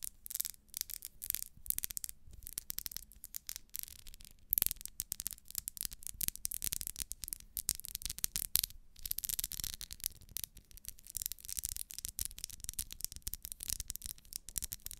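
A small, solid pink ribbed wax pillar candle is held in the hand while long nails scratch along its ribbed wax surface. The result is a dense stream of quick, bright, crackly scratching ticks over a faint low hum.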